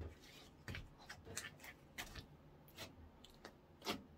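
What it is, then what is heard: Clear slime. Orange clear slime is stretched with both hands, then folded and poked with fingertips on a wooden counter. Soft, sticky squelches and bright crackling pops come in short bursts over a quiet, low background hiss.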